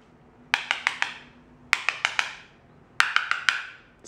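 A small hard yellow plastic tool taps glossy white ceramic floor tiles, some marked with pieces of tape, to check for hollow spots under the tile. Thirteen sharp, bright clicks with short rings come in three quick runs of four, plus one more at the very end. The tapping reveals an abnormal tile, consistent with a hollow spot beneath it.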